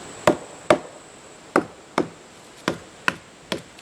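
A tool strikes the trunk of a leaning, roughly 10-inch-diameter dead black oak snag with its top gone, sounding it for rot before cutting. Seven sharp, dull knocks land at an uneven pace, each short and midrange with almost no ring. The trunk sounds hollow.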